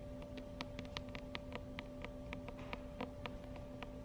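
Long acrylic nails tap rapidly on the glossy laminated front cover of a medium paperback book, *Sexual Health Information for Teens*, held in the hands. About fifteen quick, light clicks land over a steady low electrical hum.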